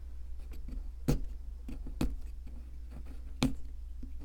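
A metal chisel scrapes at a solid white plaster fossil excavation block held by hand. Soft, dull scraping runs over a steady low hum, with three sharper scrapes standing out near 1.1, 2.0 and 3.4 seconds.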